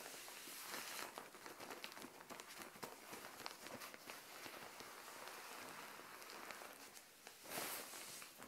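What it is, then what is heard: Plastic mailer bag. Long nails tap and scratch a plastic Shein mailer bag filled with green clothing as it rests on a tile floor. The result is soft, bright crinkling and rustling with quick light taps and almost no low end, and a louder scratchy swell comes near the end.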